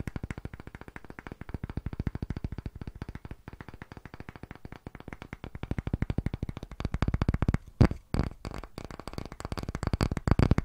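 A palm-sized solid round block of light pale wood, held in both hands close to the microphone, is tapped quickly with the fingertips and short nails. The result is a fast, continuous stream of short, dry, low-pitched knocks with almost no ring. The taps grow louder and denser in the second half, with a few sharper knocks near the end.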